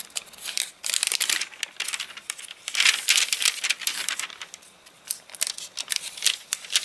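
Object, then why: Paper catalogue pages. A thick paper catalogue with wavy, crinkly pages from drying after rain lies open while fingertips flip and crinkle its thin glossy-print pages. Dense, bright crackling and crinkling bursts come in quick, uneven clusters with short pauses between them, almost entirely in the high range with no low end.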